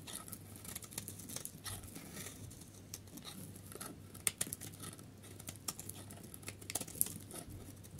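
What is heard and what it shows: A utility knife blade carves and scrapes a solid pale yellow stamped dry soap bar held in the hand. The result is a quiet, steady run of dry, crackly scraping with bright crumbly texture, broken by a few sharper clicks and flakes snapping off, over a faint low hum.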